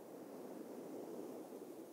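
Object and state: Nothing is struck.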